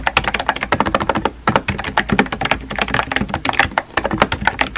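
A compact pink plastic mechanical keyboard with a hollow body and round white-and-pink typewriter-style keycaps sits on a desk and is typed on rapidly by fingertips with painted nails. The fast, steady stream of short, hollow plastic clacks has mid-range tones and quick decays, with brief pauses near 1.4 and 3.9 seconds.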